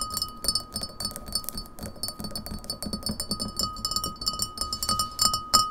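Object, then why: Glass pint glass. Long nails tap quickly on the sides of an empty, clear printed beer pint glass standing on a table. The result is a rapid, uneven stream of bright, clicky taps over a steady glassy ring near 1.25 kHz that fades quickly after each tap.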